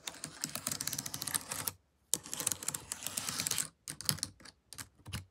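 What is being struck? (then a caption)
Plastic laptop keyboard keys. Long nails fitted with paperclips tap rapidly on the plastic keys of a laptop keyboard, making bright, dry clicking. Two long bursts of dense tapping are split by a brief silence near the two-second mark, followed by shorter, sparser clusters of clicks.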